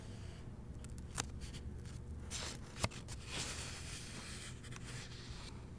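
A hardcover novel, The Seventh Plague, is held open while its paper pages are turned by a fingertip with a long painted nail. Soft, bright papery swishes and rustles sweep through, with a couple of sharp little clicks standing out over a steady low hum.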